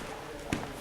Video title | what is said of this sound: ARCHI URBAIN (01/21) : Michel Polak / Résidence Palace | entre le papier mâché et le plâtre. D'ailleurs ça sonne creux.